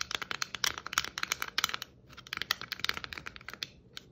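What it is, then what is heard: Plastic Christmas ornament ball. Long nails tap and scratch a hollow, red and white striped plastic Christmas ornament ball held low in both hands. The result is a fast run of sharp, bright clicks with very short ring and a light scratchy texture. The tapping pauses briefly near the middle, then resumes.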